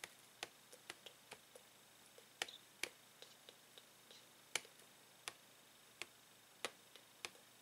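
Fingernails tap and click on a hollow, hard clear plastic blister pack holding a plastic Tangle fidget toy on a printed card backing, lying on a table. A quiet, irregular series of sharp, bright clicks is heard, each dying away almost instantly with no low-end body.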